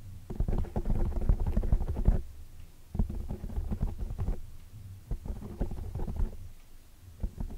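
Fingertips and long dark nails tap and scratch the sides of a large oval black foam windscreen made of soft porous foam on a microphone. The result is a close, muffled, bass-heavy crackle of soft thuds and rustling scratches that comes in bursts separated by brief quieter gaps.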